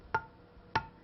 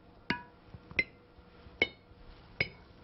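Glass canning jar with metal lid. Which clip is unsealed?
The first.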